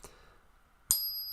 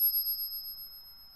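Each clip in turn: First: 40% silver half dollar, higher-pitched ring. Second: silver half dollar, genuine silver ring.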